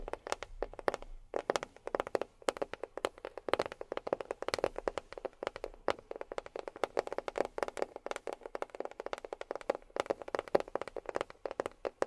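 A box is tapped with long fingernails in a fast, irregular run of dozens of short, sharp clicks over about twelve seconds. Each tap is dry and dies away almost instantly, with a faint hollow ring around 570 Hz.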